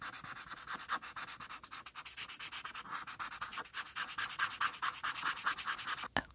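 A felt-tip marker, held with long painted nails, is rubbed back and forth over a flat white paper coloring sheet to color in the tail. The strokes make quick, steady, scratchy swishes with a bright, papery hiss centered in the upper mids and almost no low end. A sharper tick sounds just before the end.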